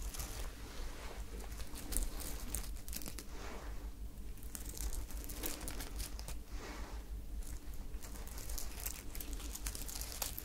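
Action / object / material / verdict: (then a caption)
scrape / sequined fabric garment / sequined fabric / none. Long nails scratch and crumple a soft, sparkly sequined fabric top with a white ruffle held close to the microphones. Continuous crunchy, crinkly rustling fills the clip with bright, dense bursts over a steady low hum.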